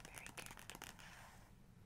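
Long acrylic nails trace and tap over a printed photo on the right-hand glossy paper page of a large open hardcover photography book. Quick, bright scratching and light taps cluster in the first second, then fade into a soft, quiet rustle.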